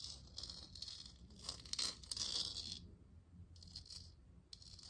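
A hollow plastic moon lamp sphere, glowing blue and held in one hand, is tapped and scratched with long nails. Bursts of bright, crisp scratching and tapping come at an irregular pace, with faint pauses between.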